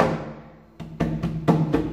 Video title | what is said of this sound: The TT project - ep.2: Disc dilemma | this thing is going to be massively loud, because, well, it's hollow, so all the sound resonates in there, no foam core to soak that up